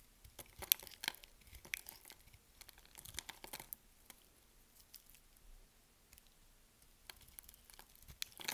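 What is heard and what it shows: A box-cutter blade cuts and scrapes slivers off a solid yellow bar of soap with diagonal scoring, held in the hand. The result is quiet, crisp, dry crackling and short bright scratches that come in irregular bursts. A sparser lull falls in the middle before the cutting picks up again.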